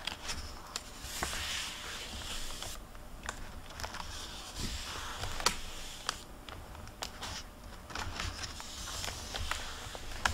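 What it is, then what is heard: Paper hardcover library book. An open hardcover library book with a plastic-covered dust jacket lies on a wooden table while fingertips with long red-painted nails turn and rub its paper pages. Soft, bright papery rustling and crinkling swell and fade throughout, broken by sharp little ticks and taps, all at a quiet level.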